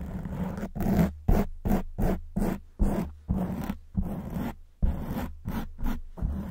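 Long white nails scratch a black foam windscreen on a silver microphone, making repeated rough, muffled scraping strokes with a heavy low rumble. The strokes come in an uneven rhythm, each one rising sharply and fading.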